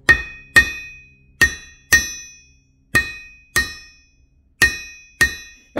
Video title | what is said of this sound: 1/2 VW Build - Crankshaft Comparison CORRECTION! | this half VW crank here for 88 millimeter Pistons it's got some ring to it